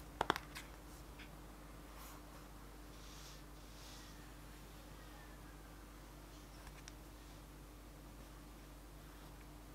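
A flat yellow cardboard theBalm eyeshadow palette, held upright in one hand, is tapped on its printed front with the fingertips of the other hand. A quick burst of dry, short taps comes at the start, followed by a couple of faint taps later over a quiet, steady low hum.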